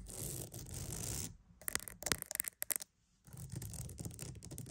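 A wooden mat is scratched with a steady, dense, bristly rasp, then tapped with a run of sharp, bright clicks that stop briefly into near silence. The soft scratching then resumes and continues to the end.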